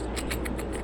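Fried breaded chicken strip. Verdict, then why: Crisp. Freshly fried breaded chicken strips are broken and crunched, giving a series of short, bright, dry crackling bursts over a steady low hum. The crisp crunch shows the strips are dry and crunchy rather than soft, and they are cooked through inside.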